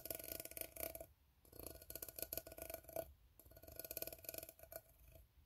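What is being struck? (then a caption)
Ribbed steel tin can. Fingertips and nails tap and scratch along the ribbed sides of an empty, open, hollow steel tin can. The sound comes in three bursts of rapid, dry clicks and scrapes with bright, scratchy highs and a faint metallic ring near 645 Hz, separated by short quiet gaps.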